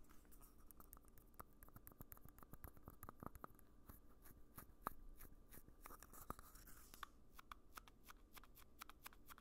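Fingertips rapidly tap and scratch an empty, small red hollow plastic party cup held in one hand near the microphone. Quiet, dry clicks with a faint hollow ring near 1.2 kHz die away almost instantly, over a soft, steady scratching rustle.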